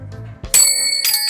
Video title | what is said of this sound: JAPAN SURPLUS AS LOW AS 10 PESOS LANG MAY MABIBILI KA DITO SA SURPLUS SHOP SA AVENIDA | Matining. Basta maganda yung tunog niya.